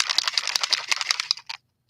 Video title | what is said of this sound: Eye Candy_Resin_Colors_Trinket Box_Mold | you must shake it up did you hear that bead